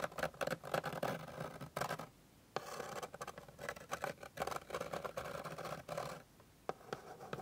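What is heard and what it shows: Long pink nail tips rapidly scratch and tap across a flat, light, solid wooden board. Dense bursts of dry scratching and quick taps centre in the low midrange and are broken by brief near-silent pauses. Each tap dies away almost instantly.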